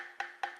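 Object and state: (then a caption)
Hollow plastic mask. Two careful taps on the hollow plastic Death mask from the Darksiders II collector's edition give short, hollow clicks with a clear tone around 800 Hz and a quick decay. The mask is hollow plastic and could break over time.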